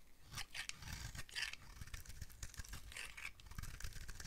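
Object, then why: Bar of soap. A utility knife blade carves and scrapes a solid blue oval bar of dry soap with a ridged top, held in the hand. Dense, rapid scraping and cutting strokes give bright crackly rasps over a low rumble.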